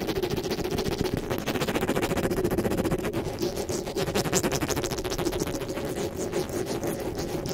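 Fingers with long nails grip, rub and rapidly scratch the metal mesh grille of a black desktop microphone. The result is a dense, fast, continuous scratching and rustling at a steady close-up level, with a heavy midrange rasp and bright crackling ticks on top.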